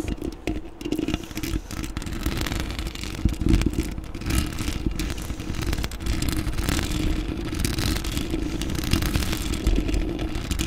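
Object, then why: Metal mesh microphone grille. Long acrylic nails on both hands scratch the domed, hollow, black metal mesh grille of a desktop microphone throughout, making a dense, continuous rasping clatter. The sound is heavy in low rumble with a steady band around 300 Hz and bright scratchy streaks, staying at an even level for the whole clip.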